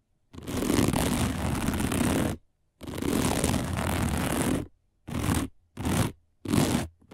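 Long nails scratch across a round, flat, dark woven plastic placemat, making dense, crunchy rasping bursts with a full low body and a bright, hissy top. Two long scratches of about two seconds each are followed by three short quick ones, and another starts just as the clip ends.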